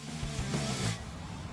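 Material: Nothing is struck.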